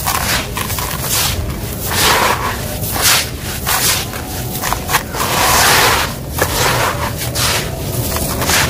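Bare hands wearing a bangle scoop small, loose, dry grey crushed stone chips in a large red plastic tub, letting them pour through the fingers and rubbing and stirring them. The result is a continuous, gritty, bright rattle and crunch of tumbling chips that swells and eases with each scoop and pour.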